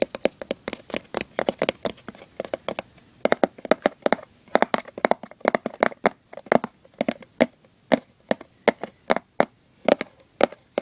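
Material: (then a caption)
Cardboard. Fingers with short nails scratch and tap across a hollow, printed cardboard gift box lid with a Santa design. A quick, irregular stream of dry, crisp taps and clicks with brief scratchy rustles comes through, each hit dying almost instantly with a slightly hollow mid-range tone. The taps stay close and quiet throughout.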